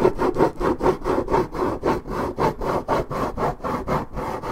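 Long nails scratch back and forth across the top surface of a hollow, coated-paperboard Minute Maid orange juice carton held steady. About 15 rhythmic strokes, roughly two per second, give a dry, rasping scrape, like sawing or filing. The sound is muffled and mid-toned, with almost nothing bright in it.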